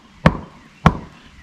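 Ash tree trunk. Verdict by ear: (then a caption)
Hollow. Two knocks on a small indent low on the back of a dead ash tree trunk, each a short, dull, low-pitched thud that fades quickly. The knocks sound hollow, showing the trunk is dead inside at that spot.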